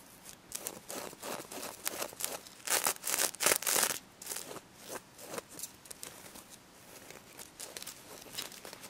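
Long red nails scratch and brush the reversible pink and gold sequins on a stuffed plush pig toy. The result is a series of bright, crisp, crinkly scratching strokes in irregular bursts, with the loudest and densest strokes around the middle of the clip before they soften again.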